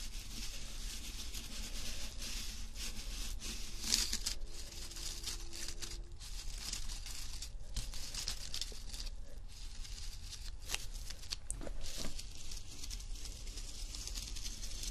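A flat, thin embossed silver foil paper sheet lying on fabric is scratched with fingernails and fingertips. The result is a steady, bright crinkling and tearing-like scratch, with sharper crackles throughout over a faint low rumble.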